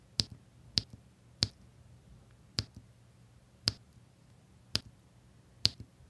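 A plastic drill pen taps small solid resin diamond painting drills one by one, in rows, onto a flat, sticky adhesive canvas with a printed grid. Seven short, bright clicks ring out, evenly spaced, each dying away almost instantly over a faint low hum.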